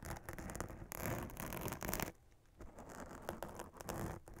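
Long nails scratch across a black fabric witch hat with a glitter spiderweb print and a sequin band. The result is a dense, continuous scratchy rustle with a bright, crackly texture. It briefly softens just past the two-second mark, then picks back up in quick strokes.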